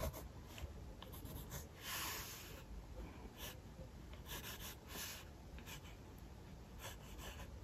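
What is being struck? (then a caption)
Paper sketchbook page under a pencil. A mechanical pencil scratches sketch lines of a figure across a thin page of an open paper sketchbook resting on a hard desk. Soft, dry scratching strokes come in short bright bursts, with a longer, louder stroke near the two-second mark, over a quiet low rumble.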